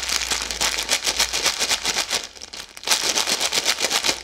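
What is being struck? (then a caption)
Plastic-film snack bag. A full red plastic-film Maltesers snack bag is crinkled and twisted by hand with long yellow nails. The result is a steady stream of bright, crackling plastic rustles that pulse in quick bursts, with a brief quieter lull midway before the crinkling picks back up.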